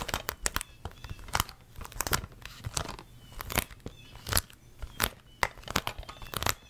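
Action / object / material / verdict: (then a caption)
tap / plastic DVD case / plastic / none. A closed, hollow plastic DVD case with a printed sleeve is held in both hands and tapped with long red nails. The result is a rapid, irregular series of sharp, bright clicks with a crisp, slightly crinkly texture, each tap stopping almost instantly with no ring.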